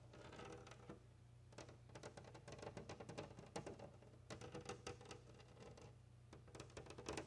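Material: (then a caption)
Glass. Fingers with long nails tap and scratch a large flat glass window pane while palms rub against it. Quick, crisp clicking taps arrive in uneven bursts with bright scratchy edges and brief soft rubbing between them. A steady low hum runs underneath throughout.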